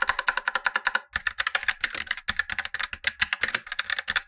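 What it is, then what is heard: Plastic mechanical keyboard typing. Fingertips in blue nitrile gloves type quickly on a full-size black Razer BlackWidow Lite mechanical keyboard with tactile switches and plastic keycaps, resting on a white desk. About thirty short, bright, clacky keystrokes fall in a steady run, with a brief pause around one second in. Each one is crisp and dies away almost at once.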